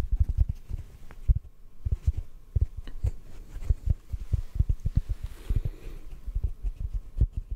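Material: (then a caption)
Foam. A large, yellow, porous block of synthetic foam sponge, soft and solid, is held in both hands and gently tapped with the fingertips. The result is an uneven run of soft, dull, low thumps with no ring, all muffled and deep with no bright edge.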